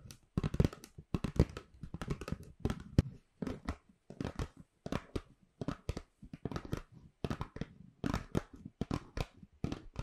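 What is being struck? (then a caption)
Paper gift bag. Long pink nails and fingertips scratch and rub a hollow, medium-sized white paper shopping bag with rope handles, crinkling the paper. Rapid, uneven bursts of dry scratching and crackling come one after another, each cutting off almost at once, with a soft low thump under the bright crinkle.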